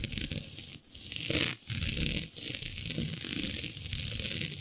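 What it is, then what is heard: Textured stretch fabric being scratched. Long nude nails scratch and pinch a flat sheet of black synthetic stretch fabric with a shiny dotted swirl pattern, the fabric denting under the fingers. The result is a steady, bright, crackly scratching and rustling texture with a softer low rumble beneath, broken by a few brief quiet dips.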